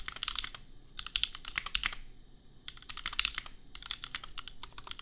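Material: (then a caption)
Plastic. Fingertips type on a compact custom mechanical keyboard with Gateron Milky Yellow switches and red and pink plastic keycaps, priced at $250. Rapid bursts of bright, crisp plastic clacks come with short pauses between runs. Each keystroke is dry and stops almost at once, with little low end.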